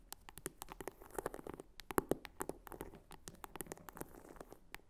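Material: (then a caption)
Faux leather. Long fingernails tap and scratch the back and top of a small red croc-embossed faux leather clutch wallet with a flap and metal snap, standing upright. The result is a quiet, rapid string of short, dry taps and light scratching that stop dead with no ring, a few taps sharper than the rest.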